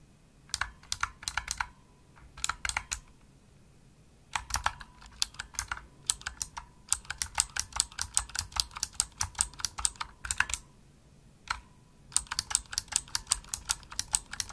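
Fingertips with medium nails type fast on a pink full-size plastic Razer Huntsman mechanical gaming keyboard with hollow-shelled keys and RGB backlight. Bright, crisp, clicky keystrokes come in rapid bursts separated by short pauses, each click sharp and dry with almost no ring and little low end.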